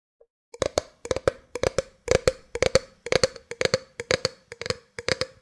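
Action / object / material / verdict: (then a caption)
tap / clear plastic drink bottle / plastic / none. An empty, hollow clear plastic drink bottle with a black cap is held sideways while long nails tap its sides. The taps come in quick clusters of two or three sharp, bright clicks, each ringing with a short hollow tone around 500 Hz before cutting off. The pattern repeats steadily through the clip.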